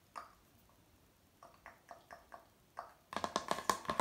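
Fingertips and nails tap the glossy surface of a flat, thin, rigid hardboard placemat printed with a sailing-ship harbour scene, hanging on a wall. Seven separate short, dry, clicky taps with a bright mid-range tone and almost no ring come first, followed by a louder, faster flurry of tapping in the last second.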